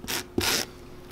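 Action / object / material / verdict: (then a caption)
scrape / leather boot sole scrubbed with a bristle brush / leather / none. A small bristle brush scrubs back and forth across the solid leather sole of a boot held in hand. Two bright, hissy brushing strokes are heard, the second starting with a soft low knock, separated by brief quiet.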